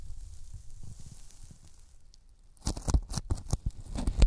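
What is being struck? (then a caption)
Thin polyethylene foam sheet. Fingertips tap a thin white closed-cell polyethylene foam sheet held in both hands over the microphones, then peel off it with a sticky sound. Soft, low, muffled taps over a faint hiss give way, about two and a half seconds in, to louder sticky crackling peels with bright, tearing edges.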